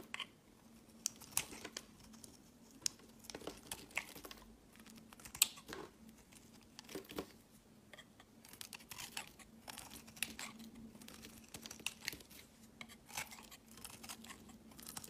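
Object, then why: Soap bar scraped by a knife blade. A utility knife blade shaves and scrapes chunks and flakes off the edge of a solid cream-coloured speckled soap bar held in one hand. The result is a quiet run of crisp, bright scraping and crackling strokes with sharp, short clicks, over a faint steady low hum.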